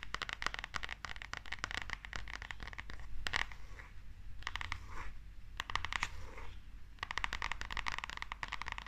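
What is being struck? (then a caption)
Glossy paperback manga book. Long nails tap and scratch the cover and spine of a small, solid glossy paperback manga book as it is tilted in the hands. Dense bursts of quick, crisp clicks and scratchy rasps come in clusters, with brief quieter gaps between them.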